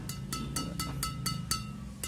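A badminton racket strung with white Yonex BG66 Ultimax string is struck on its strings eight times. Each strike gives a bright, springy "ting" near 1.3 kHz that rings a little longer than Exbolt 63 string does.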